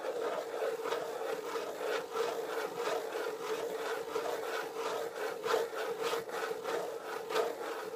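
Fingernails scratch across the top of a closed corrugated cardboard box resting on a table. There is a steady, dry scratching texture with a hollow mid-range tone around 450 Hz, and a faint high hiss. Irregular strokes swell and fade about every half second to second.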